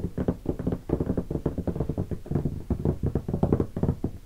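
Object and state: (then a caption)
Hollow hardshell guitar case. Fingertips of both hands tap rapidly on the lid of a closed, hollow black leatherette hardshell guitar case with stickers and gold latches, lying on carpet. The result is a quick, uneven patter of dull, low, hollow knocks that stop dead with no ring and almost no bright edge.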